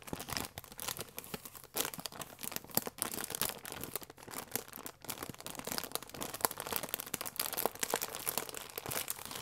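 A small sealed plastic film packet with a croissant inside is held in both hands and squeezed and crinkled with the fingertips and long nails. Dense, bright crackling and crinkling runs throughout in quick, irregular bursts, with sharp snaps standing out over a steady rustle.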